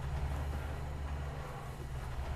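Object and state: Nothing is struck.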